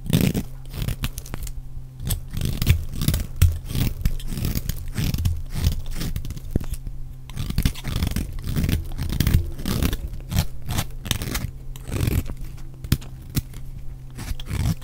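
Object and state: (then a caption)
Bar soap being shaved with a blade. A utility knife blade shaves flakes off the edges of a solid, dry, rectangular yellow bar soap stamped with letters, held in the fingers. A continuous run of short, crisp scraping and crunchy shaving strokes follows, with a low, steady hum beneath and quick, dry cuts that barely ring.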